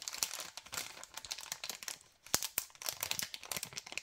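Fingers crumple and crinkle a white LDPE plastic bag of cable ties held close. The bright, dry crackles come in dense, quick bursts with almost no low end. After a short lull, two sharper, louder snaps stand out before the crinkling resumes.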